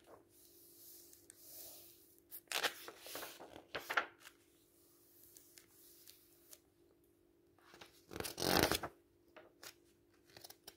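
Palms rub softly across the thin paper pages of an open paperback book, then fingers lift and turn the pages, giving bright papery swishes and crinkles with louder bursts around 2.5–4 seconds and again near 8.5 seconds. Small dry ticks of paper are scattered between the turns over a steady low hum.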